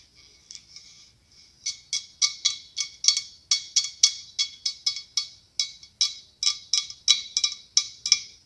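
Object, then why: Hollow blown glass pumpkin. A large, hollow, ribbed white blown-glass pumpkin with a clear curly glass stem is tapped with long acrylic nails. About 25 sharp, bright glassy ticks come in an uneven rhythm, starting faint and growing louder. Each tap is very short and high-pitched, with almost no low end.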